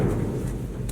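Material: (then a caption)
Rubber. A rubber trailer tire is whacked with a wooden tire thumper bat, giving a single deep, bouncy thump centered around 110 Hz that rings for about half a second. The sound indicates a properly inflated tire, whereas a flat tire would sound flatter and more hollow, with less bounce back.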